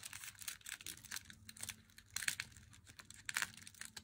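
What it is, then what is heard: Cardboard-boxed chocolate bar. Long fingernails tap the narrow edge of an unopened Meiji Black chocolate bar in its thin black cardboard box. The quiet, dry clicks are bright and brief, coming in quick irregular flurries with a faint low hum underneath.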